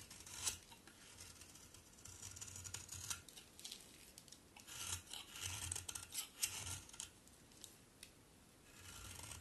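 A solid pink-brown bar of soap, held in the hand, is shaved with a utility knife blade into crunchy flakes. Each stroke gives a bright, dry scraping crunch that repeats at an uneven pace, with soft low thuds beneath.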